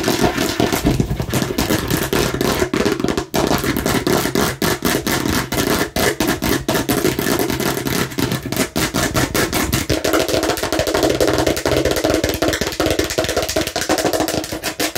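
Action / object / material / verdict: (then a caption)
tap / hard plastic watermelon-slice container / plastic / none. Long nails of both hands tap and scratch rapidly on a hollow, hard plastic watermelon-slice container, making a dense, continuous stream of sharp clicks and scrapes. The clicks have a hollow body and a bright edge. Around the ten-second mark the tone shifts, losing some low thump and taking on a more mid-range, rattling quality.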